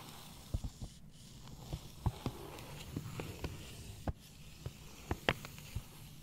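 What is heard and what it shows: Long painted nails tap and scratch the brown kraft-paper surface of a long rectangular cardboard box, possibly hollow, held on a lap. Short, dull, low taps are scattered over a soft, steady papery hiss and scratching.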